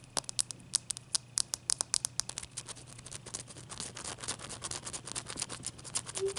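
Long fingernails tap and scratch a single melting, clear ice block held in the fingers, recorded close-up. Sharp, bright clicks ring out separately at first, then blur into a denser, continuous run of quick scratchy ticks over a faint low hum.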